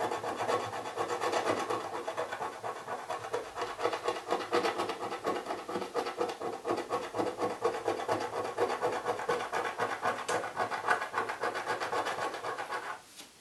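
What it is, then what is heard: Cardboard box scratched with a coin. A coin rubs and scratches the remaining grey scratch-off foil on the lid of a small, hollow printed cardboard box while fingers press on the box. A dense, dry rasping scrape repeats in quick, uneven strokes, roughly two per second, with a papery midrange hiss. It stops abruptly near the end.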